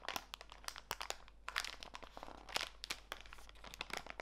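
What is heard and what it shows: A small clear plastic bag full of walnut pieces is squeezed in both hands, so the plastic crinkles and the nuts crunch. The result is a dense run of sharp, bright crackles with little low end, over about four seconds.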